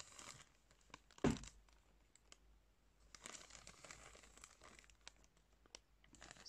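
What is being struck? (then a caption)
Thin plastic package of cotton pads. Fingers scrunch and crinkle the thin, soft clear plastic of a drawstring-top package of cotton pads. Soft crinkling crackles come in bursts with quiet gaps, and a louder crumple stands out near the start.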